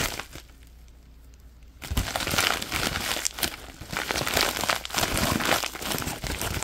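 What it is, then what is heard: Plastic bubble mailer envelope. An empty orange padded plastic bubble mailer with a bubble lining is crumpled in the hands while fingertips scratch its bubbly surface. After a near-silent first couple of seconds, dense, bright crinkling and crackling starts and continues in irregular bursts to the end.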